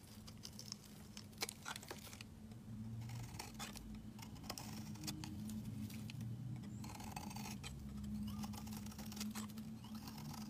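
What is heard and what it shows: A metal utility-knife blade scrapes white curls off a rectangular solid white soap bar held in the hand. Quiet, irregular crisp scraping and light ticking strokes, roughly four per second, repeat over a steady low hum, with bright, brief edges that die away almost instantly.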